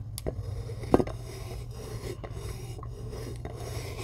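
Long glittery acrylic nails scratch and dig into the top of a solid, fist-sized rectangular block of white chalk resting on a white tray. The result is soft, dry rasping and scraping, with a few short gritty scratches and one sharper dig near the one-second mark, over a steady low hum.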